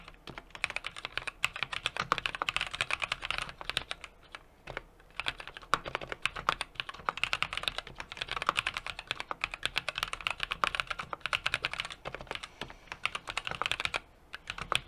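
A small 60% mechanical keyboard with an aluminum case, brass plate and plastic keycaps is typed on rapidly with the fingertips of both hands. The result is a steady stream of crisp, bright, short key clacks with almost no low end and very little ring, broken by brief pauses around 4.5 and 14 seconds.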